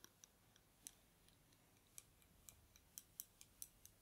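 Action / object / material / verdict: scrape / thin wooden bamboo skewers / bamboo / none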